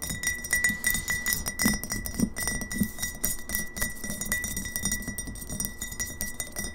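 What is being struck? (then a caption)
Glass bottle with liquid. Long fingernails fast-tap on the sides of a medium glass kombucha bottle, partly filled with liquid and held upright. The result is a rapid, uneven stream of short, bright glassy clicks and clinks, with a faint high ringing tone underneath.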